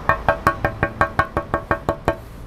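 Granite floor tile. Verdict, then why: Real. A 30x60 cm Amco Verona rough-textured granite tile, made in China and meant for floors and wall accents, is knocked in a steady series of eleven short, dry taps with a mid-pitched, wood-block-like tone and almost no ring. The tile is confirmed as full-body granite rather than cut ceramic, its body being granite throughout, and water poured on it beads up without soaking in.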